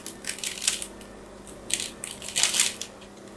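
A small solid pink-and-white striped bar of soap is held in one hand and carved with a small metal craft blade, shaving flakes away. Dry, bright scraping and crackling comes in three bursts of crisp shaving with quiet gaps between, and almost nothing sounds in the low range.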